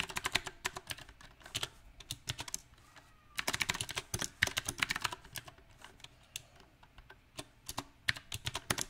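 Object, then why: Mechanical keyboard with round plastic keycaps. Fingertips of both hands type on a small 68-key backlit mechanical keyboard with round typewriter-style plastic keycaps set on a silver metal plate. Sharp, bright clicky keystrokes come in uneven bursts and pauses, each tap dying away almost instantly.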